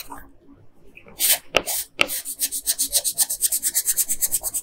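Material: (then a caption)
Paper. A pink wooden colored pencil scratches and rubs quickly back and forth on a flat printed paper coloring page lying on a table, coloring in the bow. Faint soft rubbing gives way to a few louder, bright, scratchy strokes, then settles into a steady run of rapid, rhythmic back-and-forth hisses.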